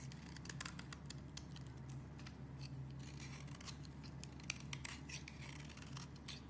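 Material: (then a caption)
Soap. A metal utility-knife blade scrapes across the face of a solid purple branded bar soap, shaving off thin flakes. Quick, crisp, bright scraping strokes follow one another steadily over a low, constant hum.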